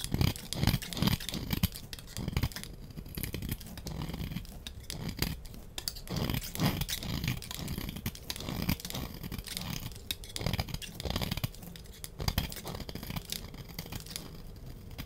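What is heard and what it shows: A solid, palm-sized oval bar of pink soap is held in one hand and scraped with a small metal blade, shaving off flakes and curls. Repeated scrape strokes make a dense run of dry, crunchy rasps with a thick low body and bright crackly edges. Each scrape stops short with almost no ring.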